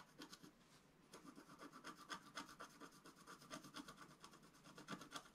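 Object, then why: Black-coated scratch-art paper scratched with a wooden stylus. A wooden stylus scratches short strokes into the lower right of a flat sheet of black-coated scratch-art paper lying on a table. Quiet, dry, bright scratching strokes come in an uneven series, sparse for the first second and then steady and denser. Each stroke is brief, with a hiss that dies away almost at once.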